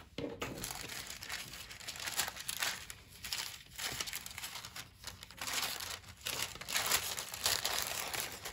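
A hand with long white acrylic nails lifts, folds, rubs and crumples a large, thin, flat sheet of pale pink tissue paper lying on a dark table. The result is bright, papery crinkling in uneven bursts separated by brief quieter pauses.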